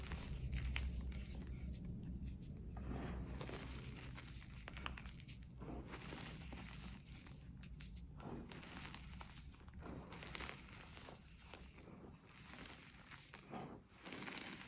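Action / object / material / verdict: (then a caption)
scrape / crushed gym chalk powder in a plastic tray / chalk powder / none. Mint-green dyed, crushed gym chalk powder piled in a plastic tray is pressed into with both hands, and clumps are squeezed and rubbed between the fingers. The result is a soft, steady run of crunching and crumbly rustling over a low rumble, with faint bright crackle in the higher range.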